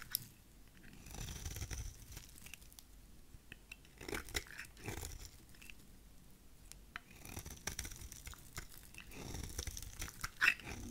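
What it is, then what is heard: Dry soap bar shaved with a blade. A solid, rectangular, dry purple soap bar held in the hand has its edge shaved into curls with a utility knife blade. The result is a run of soft, dry scraping and crunchy cutting sounds with bright, crisp textures over a low rumble. It grows louder in a few bursts near the end.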